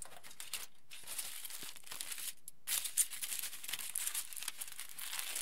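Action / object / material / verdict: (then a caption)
scrape / aluminium foil sheet / aluminium foil / none. A wrinkled aluminium foil sheet is pressed by fingers, then lifted and crinkled with both hands. The result is a steady run of bright, high, crackling crinkles with short quiet gaps, ending in denser, louder rustling.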